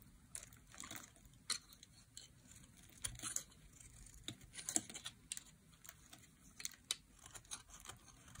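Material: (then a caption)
Soap. A dry, solid light green soap bar is held in the hand while a metal blade carves slices off it. The clip is a quiet run of short, crisp, bright scraping cuts and crumbly crackles with almost no low end. Each cut stops dead with no ring.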